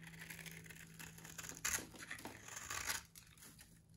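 A metal box-cutter blade carves and scratches the surface of a solid, dry orange soap bar held in the hand, scoring it into a grid of small cubes. Crisp, bright crunching and scraping strokes come in a continuous series, with the loudest bursts near the middle and end before the sound trails off quietly.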